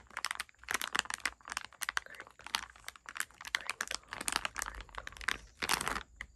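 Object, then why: Plastic packaging bag of candies. A medium printed plastic packaging bag of TNT sour lollipops, full of candies, lies flat on a bed sheet and is tapped and scratched with long red-painted nails and fingertips while the palm rests on it. Quick, dry crinkling clicks and scratchy bursts come in rapid clusters, bright and crisp with almost no low end and very short decay.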